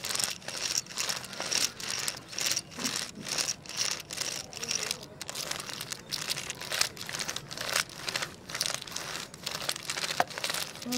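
A segmented wooden crocodile wiggle toy, held by the head, is wiggled on a tile floor with the fingertips. Its wooden segments clack rapidly in dry, bright bursts of clatter that recur in an uneven rhythm, each dying away almost instantly with little low end.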